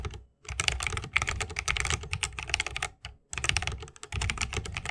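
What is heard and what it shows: Fingertips of both hands type fast on an RGB-lit 60% mechanical keyboard with plastic keycaps on Holy Panda tactile switches, set in a solid bamboo wooden case resting on a wrist rest. Quick, bright, clacky keystrokes with a low thocky body come in dense bursts, separated by a few brief pauses, and each press dies away almost instantly.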